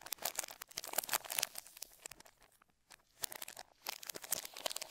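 Gloved fingertips rub, smooth and peel a thin clear plastic film bag across the underside of a black Razer BlackWidow V3 65% mechanical gaming keyboard lying face down. Dense, bright crinkling and tearing bursts fill the clip, with a brief near-silent pause around the middle before the crackling resumes.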